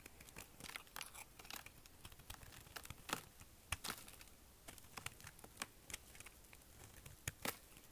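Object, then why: Bar of soap carved with a small knife. A small metal knife carves and scrapes curls from the edge of an extremely dry, hard green soap bar held in the palm. It makes a quick series of crisp, crunchy shaving and crackling sounds, each bright and short with almost no ring, with a few louder cuts standing out.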